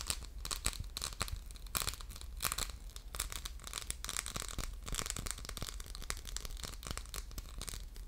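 Fingernails scratch across the textured surface of a hollow orange faceted, diamond-pattern glass soap dispenser with a metal pump, held in the hands. The result is a continuous run of rapid, dry, bright scratching bursts over a steady low hum, with short crisp clicks and no ringing.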